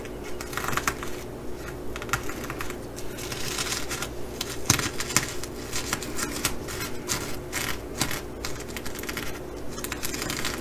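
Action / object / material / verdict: scrape / sequin-covered fabric bag / plastic sequins / none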